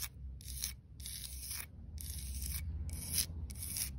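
Long dark-red nails scratch along the grooves of a solid grey cast-concrete paving slab with an embossed floral design. Repeated bright, raspy scraping strokes come in bursts over a steady low rumble.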